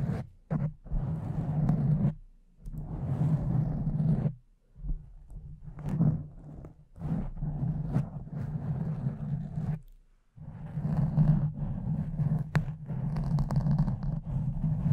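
A pink, soft, porous foam cover on a silver microphone is scratched with the long nails and fingertips of both hands. The result is a close, muffled scratching and rustling, deep and bassy, which comes in bursts separated by short silent gaps.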